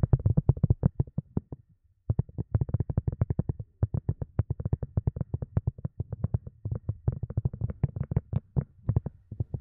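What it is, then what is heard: Silicone cup lid tapped. A silicone cup lid is tapped rapidly and continuously, giving soft, dull, low thuds with almost no ring. The quick taps run steadily, with a brief pause near two seconds before they resume and continue to the end.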